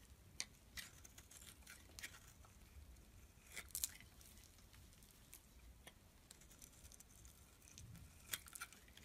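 A metal blade scrapes across the face of a solid black and white striped bar soap held in the palm, shaving off flakes. The scraping is quiet, with soft, crackly, bright rasps and a few sharper, louder clicks spread through the clip.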